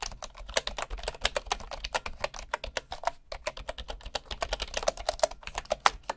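Fingertips of one hand type rapidly on a bamboo wood computer keyboard with wooden keycaps. The result is a steady stream of short, dry, woody clicks with a mid-pitched knock, some bright tips and almost no ring. There is a brief pause near the middle.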